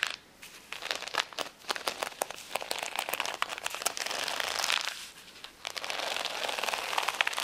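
Long nails scratch quickly over the gem rows of a flat plastic rhinestone sticker sheet lying on a towel. The result is dense, bright crinkling and crackling with sharp little clicks. Two brief quieter pauses break up the scratching.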